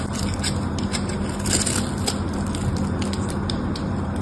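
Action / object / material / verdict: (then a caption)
scrape / bar of soap / soap / none. A craft knife carves cubes into a solid mauve bar of soap held in the hand and shaves its edge. Steady, crisp scraping and crackly shaving sounds run throughout, with brief bright scratches over a constant low hum.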